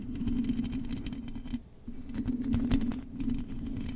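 Long acrylic nails tap and scratch the hollow metal mesh grille of a silver microphone. Rapid, crisp clicks and scraping ride over a steady low hum, with a brief quieter pause near the middle before the tapping picks up again.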